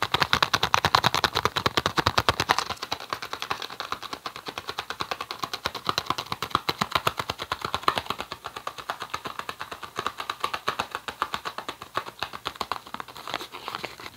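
Fingertips and nails tap and scratch a small, hollow, green printed cardboard tea box held in both hands. The result is a fast, steady stream of dry, crisp clicks with a hollow papery tone, louder and fuller in the first couple of seconds. It then settles into lighter, brighter tapping with a scratchy texture for the rest of the clip.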